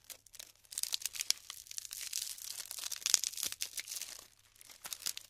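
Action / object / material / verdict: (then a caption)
scrape / glued polystyrene foam beads / polystyrene foam / none. Handfuls of colorful glued polystyrene foam beads, light and solid, are scooped up and crumbled between fingertips with long pink nails over a pile of beads on parchment paper. Dense, bright crackling and crinkling with small snaps and pops comes in bursts, with almost nothing in the low end and a quieter stretch near the end.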